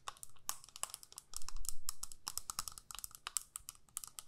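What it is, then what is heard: Plastic eyeshadow palette. Long nails tap and scratch a small plastic eyeshadow palette with a clear lid and four to six pans. Quick, irregular, bright clicks and scrapes follow one another, over a faint low rumble that swells briefly in the middle.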